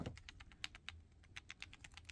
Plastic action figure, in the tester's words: It's the legs. The legs are such a problem on the 4-pack version.